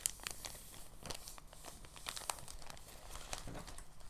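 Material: Plastic.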